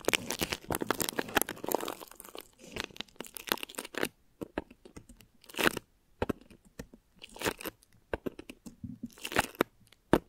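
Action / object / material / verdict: scrape / thin plastic wrap stretched over a microphone head / plastic film / none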